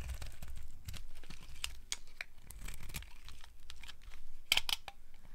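A metal blade carves and scrapes a solid, palm-sized pink bar of dry soap, and thin curls drop onto a pile of pink and yellow shavings. A run of short, dry, crisp scraping and crunching strokes repeats with a soft low rumble underneath. Near the end come a few brighter, louder scrapes.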